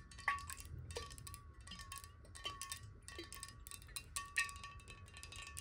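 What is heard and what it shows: A clear glass bottle, held horizontally and partly filled with water, is tapped rapidly with the long nails of both hands. The result is a steady stream of quick, bright clicks over a sustained ringing tone near 1.1 kHz, with faint low rumble underneath.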